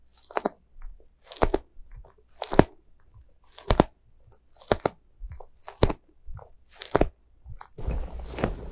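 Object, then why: Soft rubber spiky squishy toy. A small, white, soft rubber spiky ghost squishy toy is squeezed and scratched with long nails. The result is a series of short, crisp, crunchy bursts with bright, airy tops, spaced unevenly. The clip ends in a steadier, hissy scratching texture.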